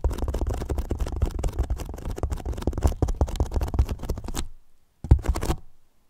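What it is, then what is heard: Hollow polyethylene foam box. Fingertips tap and scratch the top and sides of a large, hollow white polyethylene foam box, producing a dense run of soft, rustling scrapes over a deep, hollow, booming low thump. The scratching runs steadily for about four and a half seconds, fades into a brief silence, then one firmer tap and a short flurry of scratches return before dying away.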